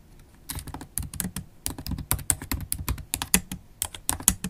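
Long black holographic acrylic nails and fingertips type fast on a MacBook Pro keyboard with black plastic keys set in an aluminium body. A rapid, uneven run of short, dry clicks and taps follows, each with a low thud and bright, crisp edges that die away almost instantly.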